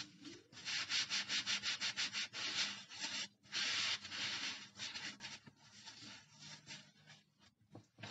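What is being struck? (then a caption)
Polyurethane foam bath sponge. A large, dry, two-layer polyurethane foam bath sponge, yellow with a white layer, light, porous and fresh from its wrapper, is rubbed, squeezed and compressed by hands in rubber gloves. It gives a rapid run of bright, hissy, scratchy rubbing strokes. The strokes are loud at first, then turn softer and more scattered toward the end.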